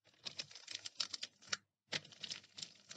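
Long painted nails tap and scratch the printed paper wrapper of a two-bar pack of Diana soap, the solid bars lying flat. Quick, dry, bright clicks and crinkly scratches come in two bursts separated by a short silence, each tap fading almost instantly.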